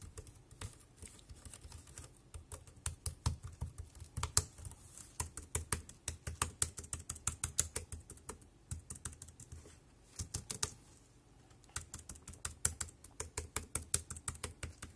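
A dark grey compact plastic wireless keyboard is typed on with one hand, first on the left keys and then on the right-edge keys with the fingertips. The result is quick, irregular runs of short clicking key taps, with bright clacks over a soft low thump, and brief pauses near the start and around the ten-second mark.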